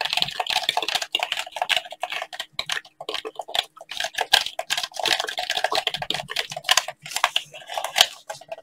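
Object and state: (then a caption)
Plastic game controller. Gloved fingertips tap and click on a hand-sized, hollow black plastic gamepad. Rapid, irregular bursts of short, bright plastic clicks and taps follow one another with brief pauses, each dying away almost instantly, much like fast typing.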